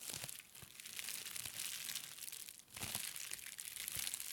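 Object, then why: Plastic bubble wrap. Fingertips of both hands press, squeeze and scratch clear plastic bubble wrap wrapped around a plastic brain model, crinkling and popping the bubbles. The result is a quiet, continuous, bright crackling texture of dense small crinkles and sharp little pops, with almost no low end.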